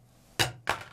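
A metal American Express Platinum credit card is dropped in a comparison drop test against the Apple Card. It lands with two short, bright clicking impacts about a third of a second apart, each fading quickly. It sounds duller and less impressive than the Apple Card.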